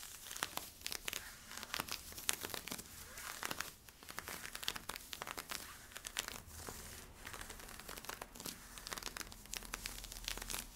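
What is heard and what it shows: Fingertips and nails scratch worn camo polyester-spandex stretch leggings with white side stripes at the waist and hip. The result is a steady run of dry, crinkly scratching with many quick, bright transients over a soft hiss and little low end.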